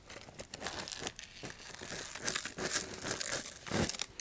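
An apparently empty cylindrical cardboard chip can with a metal rim and a colorful printed wrapper is handled and scratched with the fingers. Dense, bright crinkling and scratching sounds follow one another closely throughout, with short rustling bursts and no pauses.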